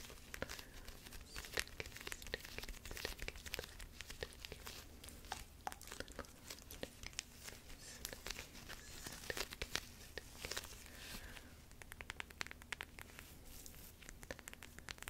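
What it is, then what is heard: Plastic gel bead eye mask. Long acrylic nails scratch and tap across a small, soft, flexible lilac plastic eye mask filled with purple gel beads, held in both hands. Dense, quick crinkly clicks and scratchy rustles with bright edges fill the clip over a low steady hum.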